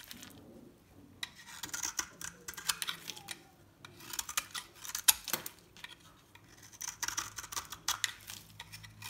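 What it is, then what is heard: Dry bar soap. A metal blade shaves and scores a solid, hand-sized bar of dry soap with an orange shell and cream core into layered flakes. Quiet bursts of crisp, bright scraping and crackling come in short clusters separated by brief pauses, each flake breaking off with a dry snap and no ring. There is almost no low end.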